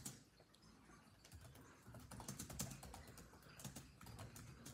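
Fingertips of both hands type rapid key taps on the dark plastic chiclet keys of a grey laptop's built-in keyboard. The quiet, uneven stream of short, bright clicks speeds up and grows slightly louder partway through, over a low background rumble.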